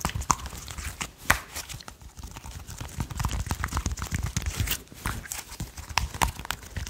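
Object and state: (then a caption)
Slime. A small handful of soft, solid purple slime is held in the hands while fingertips tap and press it. Quick, dense taps, light sticky pops and squishes follow one another with a low thud underneath and brief bright clicks. The sounds are short and dry with no ring.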